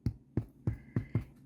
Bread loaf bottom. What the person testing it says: it sounds like it's done